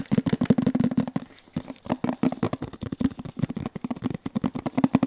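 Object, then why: Printed metal tin box. Fingertips and nails tap and scratch the side and printed label panel of a hollow red metal Kellogg's tin, turned upright and on its side. Quick, dry taps carry a short, hollow ring around 250 Hz, broken by a brief quiet pause before the tapping resumes just as fast.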